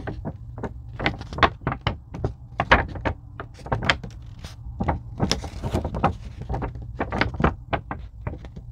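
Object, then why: Thin foam craft sheet tapped and scratched with a fingernail. A long pink fingernail scratches and taps a thin, purple-blue craft foam sheet, possibly EVA, bent slightly on a table. A rapid, uneven series of short, dry taps mixes with bright, crackly scratching over a steady low hum.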